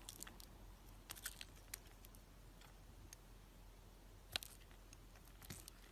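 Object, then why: Bar of soap scraped by a knife blade. A utility knife blade scrapes and cuts the surface of a hand-held, solid, rectangular, pink-and-white striped soap bar. Quiet, dry scraping runs under a string of short, bright, crisp clicks and crunches, with one sharper snap near the end. A faint low hum holds steady underneath.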